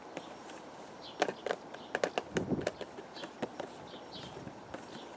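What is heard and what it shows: A hollow purple and white printed cardboard teacake box, held against the chest, is tapped with the fingertips of both hands. Thirteen short, dry, hollow taps with a mid-range tone around 550 Hz die away almost instantly, some louder and closer together in the middle, over a faint steady background hiss.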